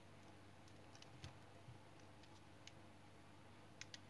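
A palm-sized, solid light brown household soap bar held in hand has thin flakes shaved off its surface with a small-bladed knife. Soft, quiet scrape-cuts and sharp little clicks sound over a low, steady hum, with the clicks coming sparsely across the clip.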